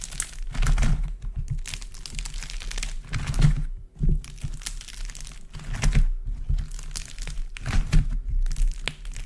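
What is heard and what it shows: Both hands squeeze, knead and crush a large, solid heap of dried multicoloured modelling clay, in warm and cool coloured balls with a cracked, dry skin, using palms and fingers. The clay gives off dense crackling and crinkling with a low, dull pressing sound underneath, rising in irregular bursts with brief quieter pauses between squeezes.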